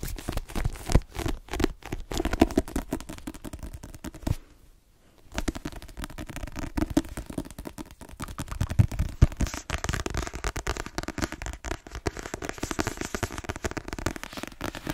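A fast, dense patter of soft fingertip and nail taps, with brief scratchy strokes, fills the clip apart from a short pause. Each hit dies at once and sits low and dull, the muffled thud of a thick paper block.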